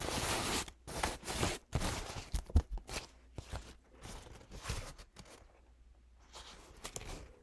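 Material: Paper.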